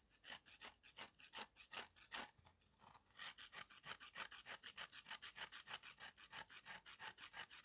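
A green-handled knife repeatedly scrapes the gritty face of a hand-held, flat, solid slab of dried red mud clay. It makes quick, rhythmic, bright, raspy strokes, like fine sawing or filing. The strokes pause briefly near the three-second mark, then resume at a steady pace.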